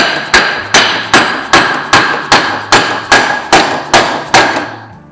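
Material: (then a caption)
Steel. A dead blow hammer taps a 1¼-inch socket placed over the splines against the inner race of a steel driveshaft center bearing on a BMW E36 M3, driving it on until it sits against the face on the far side. Eleven evenly spaced, sharp metallic taps ring around 1.6 kHz with short decays, the sound changing as the bearing becomes fully seated.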